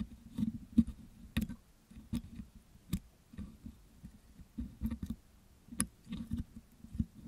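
A metal dental pick scratches and picks soft, wet green putty off the hollow metal wire-mesh grille of a Blue Yeti microphone while hands hold the mic. Soft, muffled scraping and sticky picking sounds with a low body are heard, broken by short, dry clicks and ticks that stop almost instantly.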